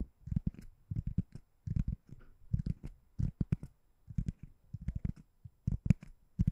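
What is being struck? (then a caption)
Foam or rubber door stopper. A white ring-shaped door stopper that looks like solid foam or rubber is held above the microphone and tapped and scratched with long nails. The result is soft, dull, low thuds in quick clusters with short scratchy textures between them, each hit dying away almost instantly with little brightness.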